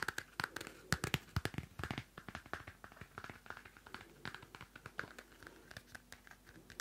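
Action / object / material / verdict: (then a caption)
scrape / small paper notebook with cardstock cover / paper / none. A small pocket Field Notes paper notebook with a cardstock cover has its cover scratched with long nails and its pages flicked. Dry, irregular scratches and papery flicks arrive in quick bursts with bright crackle. They are loudest early on, then settle into softer, steady rustling.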